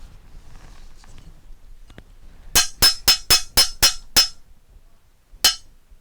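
A metal school bell is struck, giving seven quick, bright clinks followed by a pause and one final clink, each with a high, piercing ring that fades almost at once. The bell sounds clearly, showing that the metal is sonorous when struck.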